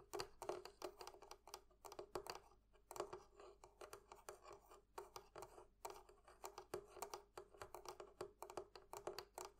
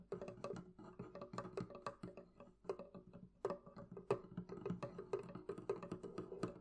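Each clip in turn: First: metal fittings of a barrel chest. Second: wooden barrel chest.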